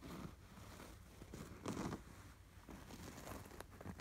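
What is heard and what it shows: Fingertips and short nails scratch rapidly over the embroidered patterns of a soft, stuffed cream canvas throw pillow with a red appliqué sweater design. The result is a quiet, continuous scratchy rustling with a dull, low-heavy texture, swelling into a louder, denser burst about halfway through before settling back.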